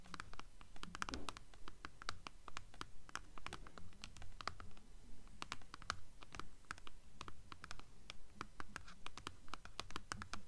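Long acrylic nails scratch along the paper dust jacket on the spine of a blue hardcover book. Quick, fairly regular strokes make dry, bright papery scratches with a rough low rustle beneath, kept quiet and steady throughout.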